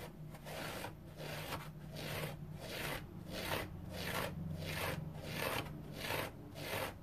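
A dry orange foam sponge is rubbed and scratched with fingernails in a steady back-and-forth rhythm. Each stroke makes a soft, bright, raspy scrape over a low, constant hum. The sound stays quiet and even throughout.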